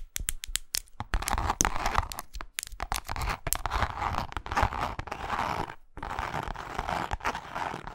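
Long acrylic nails tap and scratch across the face of a small, flat pink wallet with a cross-grain faux leather surface and a zipper edge, lying on a lap. A run of sharp, dry clicking taps gives way to dense, crackly scratching with a rough, tearing texture. Brief pauses break up the scratching.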